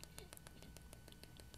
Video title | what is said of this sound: How to cast for custom foot orthotics: Custom Slipper Cast | I can hear that tapping noise I know that it's ready to go